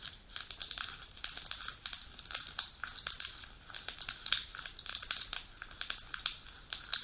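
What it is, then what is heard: Aluminium foil blister pack. Long pointed nails scratch and tap the aluminium foil back of a full pill blister sheet resting on its box. The result is a dense run of bright, crinkly scratches and sharp little clicks, almost entirely high-pitched with hardly any low end. Each tick dies away almost instantly.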